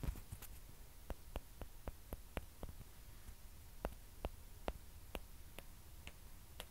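Two small, hollow, white plastic ping pong balls are tapped with long nails and knocked against each other. The result is a series of short, dry ticking clicks that die away almost instantly, spaced irregularly over a quiet low rumble.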